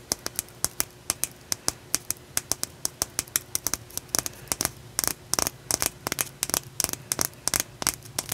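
A solid, rough, raw blue calcite chunk is held in one hand and tapped with the nails and fingertips of the other hand. It makes a quick, irregular series of sharp, bright clicks that die away almost instantly, some in fast clusters, over a faint low steady hum.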